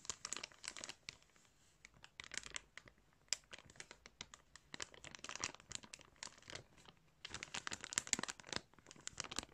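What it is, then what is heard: Clear plastic bag of yarn. Fingers pinch the plastic of a clear plastic bag filled with yarn while a flat hand presses and rubs it. Bursts of bright, crisp crinkling come in clusters separated by short quiet pauses. The sound sits almost entirely in the high range, with very little low end.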